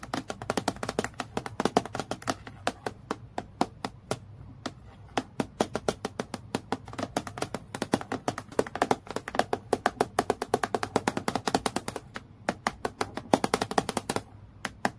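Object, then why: Acrylic plastic clipboard. Long nails tap rapidly on a transparent acrylic plastic clipboard lying flat, striking the sheet in a steady stream of sharp, dry clicks. Each tap is short with almost no ring, carrying a light plastic tone around 270 Hz and bright clicky edges, with only brief gaps in the run.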